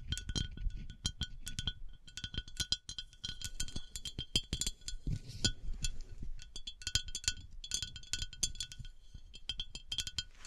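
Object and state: Glass bath oil decanter.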